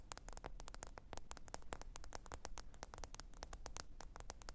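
Long orange nails tap rapidly on the glossy glass screen of a black smartphone lying flat on a faux fur mat. The result is a fast, steady stream of short, dry, bright clicks, each dying out almost at once, over a faint low rumble and hiss.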